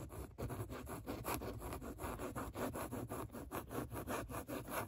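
Long nails scratch repeatedly across a padded grey microsuede-like fabric seat, leaving trace marks in the nap. About fourteen soft, brushing rubs sound in an uneven rhythm, each a breathy scrape with a faint low rumble beneath.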